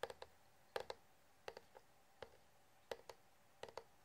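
Short fingernails and fingertips tap the body of a clear, hollow, empty-looking plastic water bottle with a blue plastic flip lid and metal clip. The taps come in quick, uneven little clusters of dry, hollow clicks with a tone around 500 Hz and a bright edge. Each one dies away almost at once.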